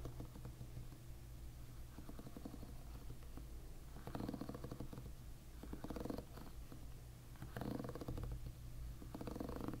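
Fingertips strum the plastic pins of a plastic-pin hairbrush held bristles-up, making a continuous low, rumbling flutter. The flutter swells louder in several passes before easing back.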